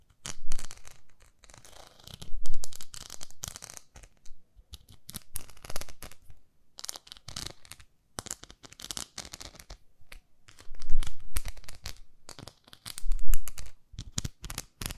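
Long nails scratch and tap the smooth back of a round, flat pink plastic facial cleansing brush pad. Dense, crackly scraping comes in bursts of rapid strokes, with duller taps and brief quiet gaps between.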